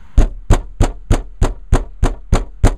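A bare steel car door panel with no sound-deadening mat is pounded nine times at a steady, even pace, each blow giving a low, hollow thud with a tinny rattle that dies away quickly. The untreated door resonates and rattles, the very noise that prompted fitting a deadening mat to the other door.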